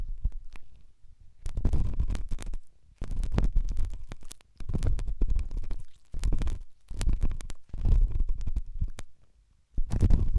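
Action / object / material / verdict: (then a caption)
scrape / silicone dummy ear of a binaural microphone, rubbed with a pen tip / silicone / none. A pen tip scratches and rubs inside the ear canal of a right white silicone dummy ear on a binaural microphone. The result is deep, muffled, rumbling scrapes that come in bursts of rubbing separated by brief near-silent pauses.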